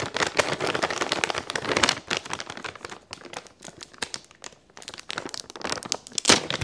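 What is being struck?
Plastic pouch filled with Epsom salt.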